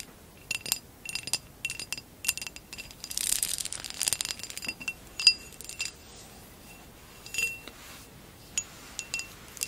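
Long acrylic nails tap and scratch a tall, hollow, amber basket-weave glass vase that stands upright and empty. Bright, high glassy clinks come in quick clusters with a short ring, and a denser scratching rustle swells in the middle of the clip before the taps grow sparse.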